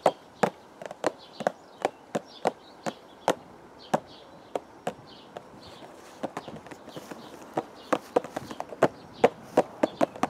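Fingertips tap a hollow purple cardboard teacake box held against the chest, giving about 31 short, dry, hollow knocks with a midrange tone and almost no ring. The taps come in an uneven rhythm over faint soft background noise, sparse at first and then quicker and clustered toward the end.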